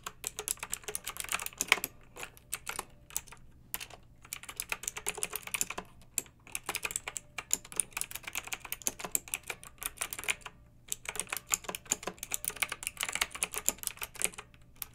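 Two hands with long nails type with their fingertips on a pink backlit, typewriter-style plastic mechanical keyboard with round metal-rimmed keycaps. Quick bursts of bright, crisp clicks and clacks follow one another with brief pauses, each keystroke dying away almost instantly. A faint low hum runs underneath throughout.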